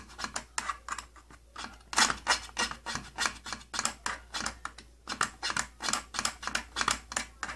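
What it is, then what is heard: Plastic tattoo kit case. Fingertips and nails tap a flat, hollow side panel of an opened purple plastic tattoo kit case. The result is a fast, uneven run of about thirty short, bright, clicky knocks with a slight hollow plastic tone and almost no ring, over a faint steady low hum.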